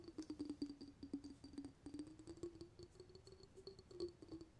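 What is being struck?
Small glass jar of water with a metal lid.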